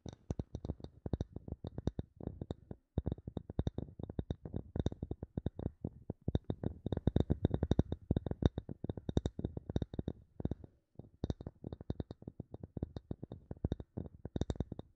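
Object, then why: Small wooden block tapped with fingernails. A small, solid, light wooden block held in both hands is tapped rapidly with long nails. The taps come as dense, dry clicks with a low, hollow thud and almost no ring, plus a faint bright tick on top. They run in quick bursts with brief pauses near 3 and 11 seconds.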